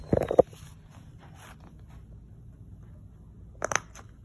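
Fingertips press and pop the hollow bubble domes of a round, hand-sized rainbow silicone pop-it fidget toy lying on a wood-look floor, with other pop-it toys nearby left untouched. A quick burst of dull, snappy pops opens the clip, followed by a long quiet stretch, then two more short pops near the end. The pops are muffled and mid-pitched, with a slight bright edge and almost no ring.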